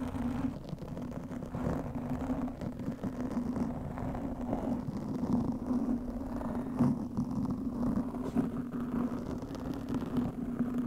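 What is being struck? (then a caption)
Foam microphone windscreen. Long nails scratch the sides and top of a black foam windscreen fitted over a microphone. The result is a steady, muffled, rumbling scratch with a dull tone around 250 Hz and almost no bright content, holding a fairly even level with small swells throughout.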